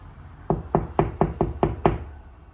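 Seven knocks on drywall a little to the right of a stud, each a short, dull, hollow thud with low body and quick decay. The wall sounds hollow there, meaning there is no stud behind that spot.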